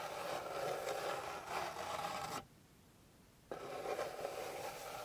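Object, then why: Flat wooden board. Long pink fingernails scratch across the surface of a flat, light, solid wooden board, making a steady dry rasping scrape with a midrange, papery texture. The scratching stops for about a second of near silence, then resumes at the same level until the end.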